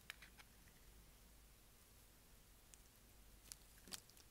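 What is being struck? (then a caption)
Bar of soap shaved with a blade. A utility knife blade shaves the corner of a dark speckled, solid, dry bar of soap held in the hand. Scattered short, bright, crisp scraping ticks rise over a quiet, low background, clustered at the start and again near the end. Each one stops almost instantly.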